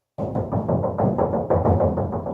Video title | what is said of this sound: Installing Design Engineering (DEI) Under Hood Insulator | it's got like a tin can sound, right? You ever squeeze like a soda can? It goes click, click, click, click, click, click. It's got a real hollow sound.